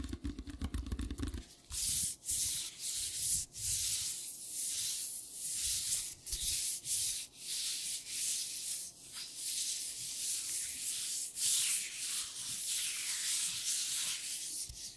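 Thin black nitrile gloves worn on both hands are rubbed together palm to palm and along the fingers over a white table. After a brief low rumbling start, a steady run of bright, hissing, papery rubbing strokes follows, each swelling and fading with short gaps between.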